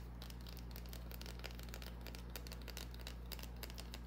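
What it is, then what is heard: Bar of soap scratched and tapped with fingernails. A small solid green bar of soap held in the hand is scratched and tapped with long painted nails. The result is a quiet, steady stream of irregular dry scratches and light clicks, bright and crisp up high, over a constant low hum.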